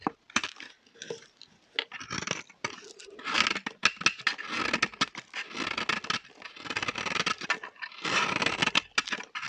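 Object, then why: Soap bar cut with a blade. A small, solid orange bar of dry vintage soap, held in the hand, is shaved and carved with a metal box-cutter-style blade. Dense bursts of bright, crunchy scraping and cutting strokes come in quick succession with short pauses between them. The shavings fall onto a pile of soap flakes.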